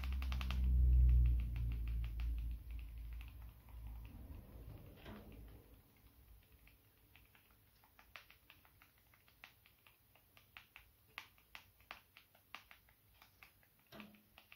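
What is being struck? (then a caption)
Smartphone, glass and plastic casing. A small, dark, solid smartphone held in one hand is tapped and scratched with the fingertips and short nails of the other hand. A deep, loud rumble fades over the first few seconds, leaving quiet, scratchy rustling and then a steady run of crisp, light clicking taps.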